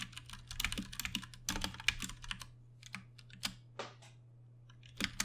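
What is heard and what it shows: Fingertips from both hands tap and type on a compact 60% Ducky One 2 Mini RGB-backlit mechanical keyboard with plastic keycaps and Cherry MX Brown switches, resting on a desk. Bright, short clicky keystrokes come in uneven bursts with brief pauses, over a faint steady low hum.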